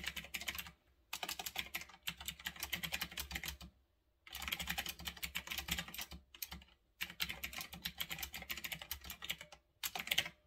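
Fingertips type on a retro typewriter-style mechanical keyboard with round backlit plastic keycaps, resting on a desk. Rapid, bright, crisp plastic clicks come in bursts of steady typing separated by brief silent pauses, each click dying away almost instantly.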